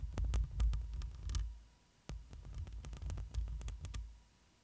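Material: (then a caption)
Metal mesh. Long glossy nails scratch and tap the woven metal mesh grille of a black microphone up close, producing a dense, booming low-end rumble with quick bright ticks scattered over it. A faint steady hum runs underneath, and the scratching pauses briefly before resuming, then fades out.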